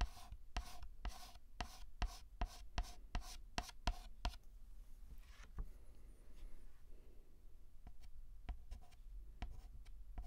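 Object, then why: Chalk on a chalkboard. White chalk is scraped across a black chalkboard in dense, short scratching strokes. A quick run of sharp, bright strokes fills the first four seconds, then gives way to softer rubbing and a few scattered taps.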